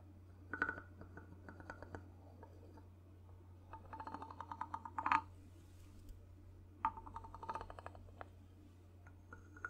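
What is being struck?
Wooden two-tone block.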